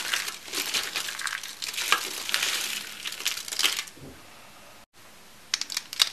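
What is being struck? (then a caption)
Rolled soap curls. Bright green rolled soap curls are crushed between palms and fingers, breaking into brittle shards that fall onto a wooden board. Dense, dry crunching and crinkling fills the first four seconds with bright, high-heavy texture. The sound drops to near silence, then a few sharp crackles return at the end.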